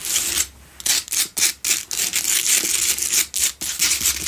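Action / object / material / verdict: scrape / salt block candle holder scratched with fingernails / rock salt / none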